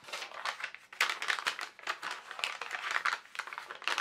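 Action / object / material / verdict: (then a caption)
scrape / tracing paper sheet / paper / none. A single translucent sheet of tracing paper is held in both hands and bent and crinkled by the fingers. It gives a steady run of crisp, dry crackles in uneven bursts, bright and papery with almost no low end, as the sheet is worked continuously.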